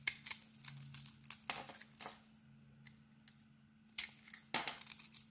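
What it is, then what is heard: Bar soap being shaved. A utility-knife blade shaves thin curls off the face of a solid rectangular bar of soap with a glittery pink embossed coating. Crisp, bright scraping strokes come in short bursts separated by quiet pauses, over a faint low steady hum.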